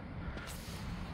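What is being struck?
Nothing is struck.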